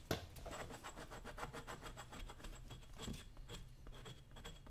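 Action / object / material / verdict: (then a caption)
scrape / leather work boot and metal chisel / leather / none. A dull metal chisel scrapes along the side of the leather upper of a brown leather work boot held by the toe, in quick repeated strokes. The result is a steady, quiet rasping scratch with a low, soft body and faint bright edges on each stroke.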